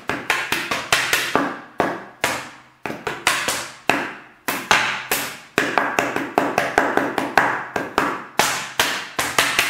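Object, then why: Plastic water bottle. A large, clear, hollow and apparently empty plastic water bottle is held sideways and tapped and slapped with the fingertips and palm of the other hand. About 34 bright, hollow taps fall in an uneven rhythm, each with a resonant tone near 1.6 kHz that rings out briefly. A faint low hum sits steadily underneath.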